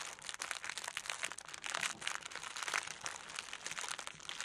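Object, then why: Tissue paper roll. A sheet of orange tissue paper, rolled into a tube on a table with a crystal likely wrapped inside, is pressed with fingertips and long nails. It makes a steady stream of dense, bright crinkling with no low end throughout.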